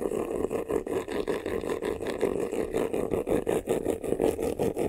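Fingernails scratch fast across the lower front of a medium black croc-embossed faux-leather vanity case, a hollow box. The result is a steady stream of rapid, rough rasping strokes with a hollow, boxy tone centered in the mids, pulsing unevenly throughout.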